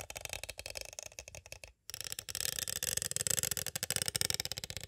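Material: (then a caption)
Plastic. A small, hollow, clear plastic cassette tape case is tapped on its sides with two green plastic stick tools in quick, steady runs. The taps make dry, bright plastic clicks with almost no ring, broken by a brief silent pause near the two-second mark before resuming slightly louder.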